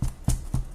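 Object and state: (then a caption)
Fully baked bread loaf (hollow). The bottom of a freshly baked, homemade crusty wheat bread loaf is tapped three times, giving short, low, hollow thumps with a dull pitch around 125 Hz. The hollow sound shows the loaf is perfectly baked.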